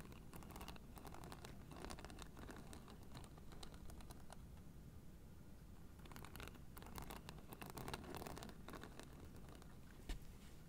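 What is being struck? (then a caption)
Fabric-covered foam acupressure mat with plastic spike discs. Long nails scratch and tap the white plastic spike discs of a blue fabric-covered foam acupressure mat held flat in front of the mic. Rapid, dense clicking and scratching comes in two busy stretches with a quieter lull between them, over a steady low rumble.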